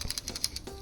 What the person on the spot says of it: 振ると音がしますが、フリシャーではないらしい。